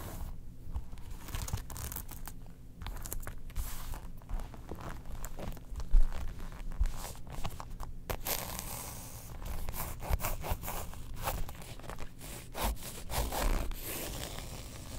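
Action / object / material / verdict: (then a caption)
scrape / faux leather zip wallet / faux leather / none. Long nails scratch across a closed, printed faux leather Star Wars long wallet with a character design and a zip edge, then the wallet is lifted in the hands. The result is a steady, dense scratching and rasping with crinkly, tearing-like texture, mostly low and soft, with a few louder scrapes along the way.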